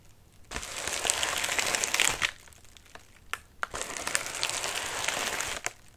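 Fingertips scratch and rub the wrinkled surface of a medium white padded mailer resting on a lap. Two long stretches of bright, dense crinkling fill the clip, separated by a quieter gap with a few sharp crackles.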